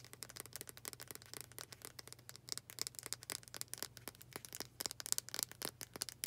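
Long dark acrylic nails rapidly tap and scratch the wooden back of a hand-sized, solid-wood, dark brown hair brush with black bristles. The result is a dense, quiet stream of crisp, bright clicks and dry scratches with almost no ring, over a faint low steady hum.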